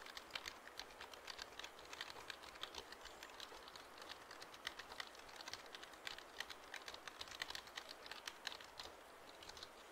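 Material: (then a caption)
Plastic. A full-size black plastic computer keyboard with a hollow body is held in both hands near the mic while fingertips tap and press its keys. The result is a steady, quiet stream of rapid, bright plastic clicks and taps, each dry and short with almost no ring, continuing for the whole clip.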